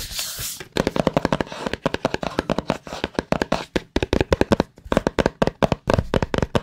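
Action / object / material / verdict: tap / small cardboard product box / cardboard / none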